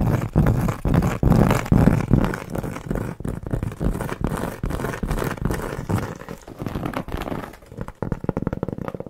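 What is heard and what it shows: Long nails tap and scratch across the surface and edge of a large, round, flat, solid cork board trivet. Quick, irregular, dull taps blend into rough scraping with almost no ring, and the sound stays low and muffled with little bright high end.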